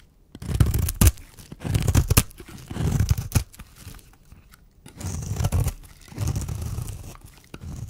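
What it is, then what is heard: Dry bar soap being scraped. A small, solid white rectangular bar of dry soap, held in the hand, is scraped and cut with a black-handled metal blade, shaving off curled flakes. Repeated bursts of dull, low-heavy rasping and crunching are broken by sharp, brief snaps, with short quiet pauses between strokes.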